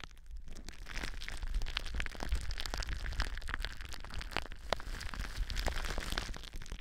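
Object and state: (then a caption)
Plastic bubble wrap. Clear plastic bubble wrap with air-filled bubbles, wrapped around a microphone, is scratched and pressed by long blue nails using both hands. A steady crinkling, scratching texture is broken by many sharp, bright clicks and crackles over a constant low rumble.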